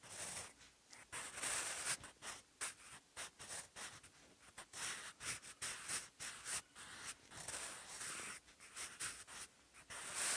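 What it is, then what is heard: Pencil writing on textured notebook paper. A sharpened wooden pencil with a graphite tip writes Korean characters on cream textured paper with faint ruled lines, in a bound notebook lying flat and solid on a surface. Quiet, bright, dry scratching strokes come in short bursts separated by brief pauses, with a high hiss and almost no low end.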